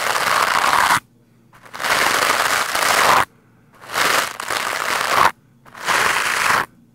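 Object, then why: Foam microphone windscreen scrubbed with a stiff-bristled brush. Stiff white bristles of a lime-green scrub brush are brushed hard against a black foam microphone windscreen. Four bursts of dense, bright, crackling scratching are heard, each about a second long and separated by short silences.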